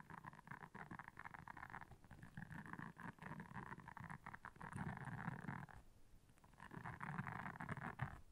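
Long nails scratch across the soft bristles of a round, flat, blue silicone scrubber pad lying on black fur. The result is a rapid, uneven, raspy scratching with a heavy low rumble and a mid-range hiss, easing briefly into a quieter stretch near the six-second mark before picking back up.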